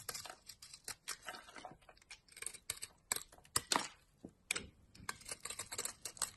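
A metal blade shaves and scrapes thin curls off a solid rectangular tan laundry soap bar stamped "72% СИЛА," held in a hand with long dark nails. A quiet, rapid series of crisp, bright scraping and cutting strokes is heard, with little low end and each stroke ending almost at once.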